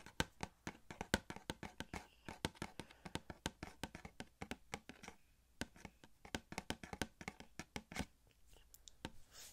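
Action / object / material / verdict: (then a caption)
tap / small cardboard box with clear plastic window / cardboard / none. Fingertips tap quickly on a small, hollow cardboard Elastigirl Funko Pop box with a clear plastic window and the figure inside. The taps are dry and irregular, with a hollow low knock and bright clicks that die away almost at once. There are brief lulls around the middle and a soft, scratchy brushing at the end.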